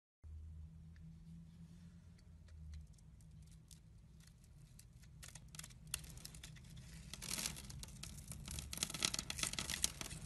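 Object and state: Glycerin soap bar being carved.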